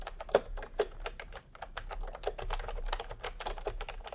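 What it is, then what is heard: Plastic keyboard being typed on. Fingertips type steadily on a full-size plastic retro keyboard with a peach plastic case and round typewriter-style plastic keycaps. The result is a fast, uneven run of short, dry plastic clicks with a mid-pitched clack, and a couple of noticeably louder keystrokes stand out near the start.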